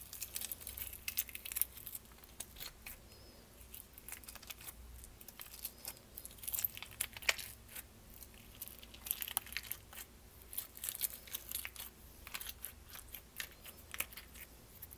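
Long nails tap and scratch the lid and walls of a small clear plastic tub with a lid, filled with purple slime. The result is a quiet, continuous stream of sharp, bright clicks and scratchy rustles that die away almost instantly, over a faint low hum.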